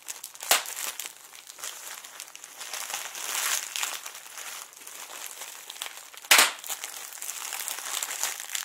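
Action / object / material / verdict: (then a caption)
scrape / plastic bubble wrap sheet / plastic / none. A clear plastic sheet of air-filled bubble wrap is scrunched and crinkled with both hands close by, giving a steady, bright crackling rustle with no low end. Two sharper, louder pops stand out near the start and again after six seconds.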